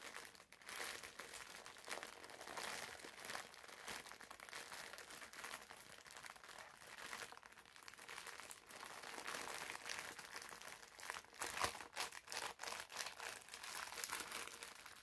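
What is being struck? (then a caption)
Foam bath sponge in plastic film wrapper. A green foam bath sponge wrapped in clear plastic film is held in both hands while fingertips squeeze and scratch the crinkly wrapper. The result is a steady, quiet stream of bright crinkling and crackling with almost no low end, growing a little busier after the midpoint with a sharper crunch near the twelve-second mark.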